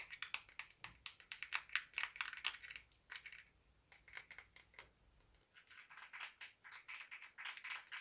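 Long nails in both hands tap and scratch a small, closed, hollow pink plastic lip gloss case. The result is a fast, uneven run of bright, dry clicks and scrapes that stop almost instantly. A faint low hum underneath cuts out about two-thirds of the way through.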